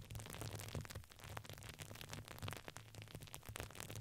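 A red patterned, satin-like fabric ring with crinkly filling, placed around the microphone, is squeezed and rubbed with fingers. The result is a steady stream of dense, crackling crinkles with bright hiss, over a constant low hum.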